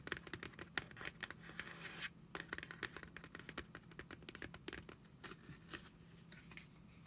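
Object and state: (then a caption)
Cardboard cosmetics box. A hand-sized, flat printed cardboard Fenty Beauty Pro Filt'r product box, hollow with products inside, is held in both hands and tapped and scratched with long acrylic nails. A rapid series of sharp, dry clicking taps is heard, broken by bright, hissy scratching strokes, including a longer scrape just before the two-second mark. A faint, steady low hum runs underneath throughout.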